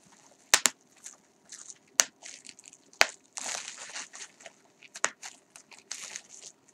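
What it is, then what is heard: Plastic bubble wrap being popped. A crumpled piece of clear plastic bubble wrap is held up and crushed and twisted in the hands, popping and crinkling its air-filled bubbles. A few loud, sharp pops stand out above bursts of bright, dry crackling and crinkling, each dying away almost instantly.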